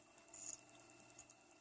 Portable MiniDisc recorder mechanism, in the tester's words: It makes that funny noise when you tap it as well.